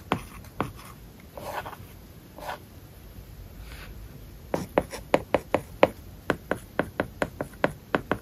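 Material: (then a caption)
Glass, plastic. A plastic stylus tip writes in quick strokes on an iPad's glass screen covered with a matte, paper-like plastic film. Soft, scratchy rubs and a few isolated taps come first, then a fast run of crisp, dry ticks in the second half, seventeen short hits in all, each dying away almost at once with a mid-pitched, papery scratch.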